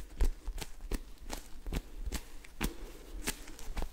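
A small, soft, solid polyurethane foam squishy toy shaped like a s'more, with orange cracker layers and a white marshmallow face, is held in both hands while fingertips and short nails tap, scratch and squeeze it. Quiet, short, dry taps with a faint crisp scratchy edge repeat at an irregular pace over a low, dull background rumble.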